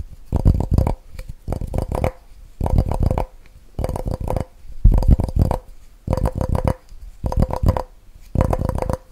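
Fingertips and nails rapidly tap and scratch the walls of a clear, empty plastic measuring jug with red markings, held in the hands beside the mic. The sound comes in eight quick flurries of hollow, thumpy taps separated by short pauses, with a faint ringing tone under each burst.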